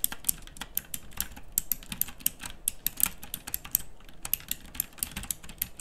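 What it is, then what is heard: Plastic mechanical keyboard being typed on. Long fingernails type continuously on a backlit plastic mechanical typewriter-style keyboard with round dark-pink plastic keycaps. Each keypress gives a sharp, bright click with almost no ring, over a faint low rumble. The clicks come in a quick, uneven stream of many separate strikes.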